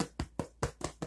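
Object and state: Hollow-sounding, fully baked bread loaf.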